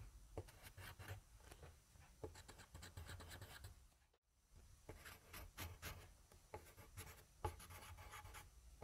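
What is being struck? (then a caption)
Graphite pencil on paper sheet. A yellow wooden graphite pencil, held in a hand with long dark nails, scribbles rapid, scratchy writing strokes on a thin sheet of grid paper resting on a desk. The quiet, dry scratching comes in quick bursts with bright high edges over a low rumble, pausing briefly near the middle before resuming.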